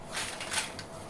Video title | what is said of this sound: मार्किट जैसी कुरकुरे केले के चिप्स बनाने का आसान तरीका - Banana Chips Recipe - Kele Ke Chips | see how good the sound is coming and how many crispy chips are made